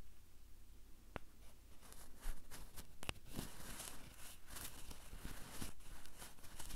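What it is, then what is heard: Plastic handheld recorder tapped and scratched by fingernails. A small Tascam handheld recorder with a hollow black plastic body and two metal mic capsules is tapped and scratched across its top and capsules by long purple nails on both hands. Quiet, dry clicks and soft scratching rustle over a low rumble, with a few sharper taps standing out.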